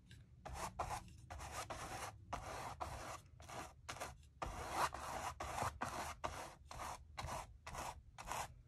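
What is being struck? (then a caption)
Bristle brush on acrylic-painted stretched canvas. A wide bristle brush with a wooden handle is stroked repeatedly across the textured surface of a large acrylic-painted stretched canvas on a table by a window, spreading white matte varnish. Each stroke makes a dry, scratchy rubbing burst with broad, bright hiss, separated by short pauses.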